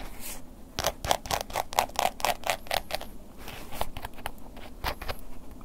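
A wooden ear pick scratches the top edge and face of a black woven-embossed leather long wallet held upright. A quick, uneven series of short, dry scratching strokes, about four per second, each with a mid-range body and a bright, airy top. The strokes die away almost at once against a soft background hiss.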